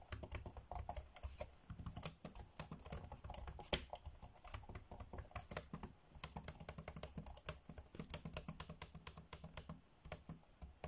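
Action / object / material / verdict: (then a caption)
tap / plastic laptop keyboard / plastic / none. Fingertips tap fast on the dark grey plastic chiclet keys of a laptop keyboard, typing in a quick, steady stream of short, dry clicks. Each click is bright with a soft low thump beneath it and stops almost at once. The typing runs without a break for about eleven seconds.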